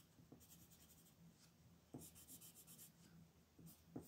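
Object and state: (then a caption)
Pencil shading on a paper sheet. A red wooden colored pencil shades the shell on a flat white paper coloring sheet lying on a table, making soft, bright rubbing and scratching strokes at a quiet level. Four sharper accents stand out where the pencil point hits the paper, over a low, steady murmur.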